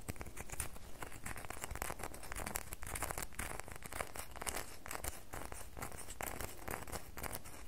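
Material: Soap.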